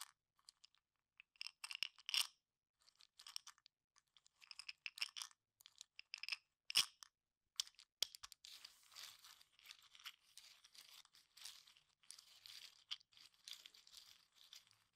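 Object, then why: Small cup of wooden toothpicks. Fingertips strum and scratch across the tips of wooden toothpicks packed into a small cup, making crunchy, high clicking sounds. For the first half they come in short, bright bursts with a few sharp snaps. The second half turns into a steady, quiet, dry scratching.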